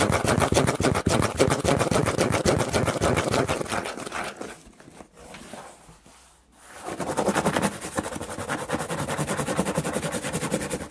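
Fingertips and nails rapidly scratch and tap the flat side of a large, empty corrugated cardboard shipping box printed with a smile logo. The result is a dense, fast, fairly regular stream of dry, papery clicks and scrapes. The sound softens into quieter scratching for a couple of seconds in the middle, then builds back to vigorous tapping.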